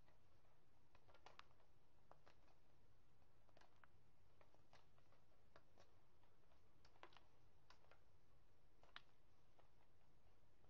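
A chunk of white gym chalk, held in both hands, is squeezed between the fingertips, making it crunch and crumble into powder and flakes. Quiet, scattered crisp crackles and small clicks sound irregularly over a steady low rumble.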